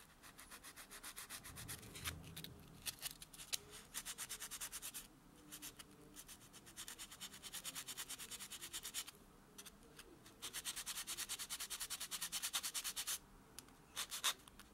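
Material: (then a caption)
Fingernail. A white solid foam buffer block is rubbed along the natural fingernails of a hand lying flat on a dark textured surface. Quick back-and-forth buffing strokes make a bright, hissy scratching that comes in bursts with short pauses between them.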